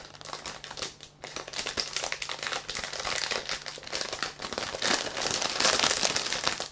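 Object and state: Plastic-wrapped plush toy.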